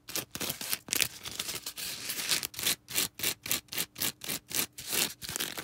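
A small star-shaped green porous foam sponge is squeezed and scratched with long red acrylic nails. The result is a fast, uneven run of bright, hissy scratching and rubbing bursts, blurred together at first and then separating into short, quick strokes with brief silences between them.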